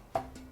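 A sprouted seed cracker sheet, brown and already cracking after 20 minutes in the oven, is tapped twice to check doneness. The first tap gives a short, dry, woody click around 670 Hz that dies away quickly, and the second is fainter. The sheet sounds baked through and very ready, with no moisture left in the middle.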